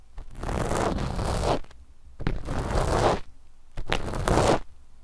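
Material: Knit fabric.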